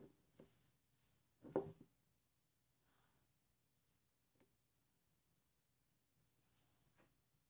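A thick glass Iroshizuku chiku-rin ink bottle, about 50 ml, filled with ink and closed with a black cap, is held and tapped with fingertips and nails. Soft, dull taps and light clicks come at scattered moments, with the loudest cluster near the middle of the clip. Each tap dies away almost at once into near silence.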